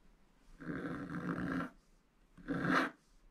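A wooden stylus scratches and rubs across a black wax-coated scratch art page in a spiral book, filling in areas. Two raspy, papery strokes are heard: a longer one of about a second, then a shorter, slightly louder one, each with a grainy mid-range rasp and a faint bright hiss, separated by near silence.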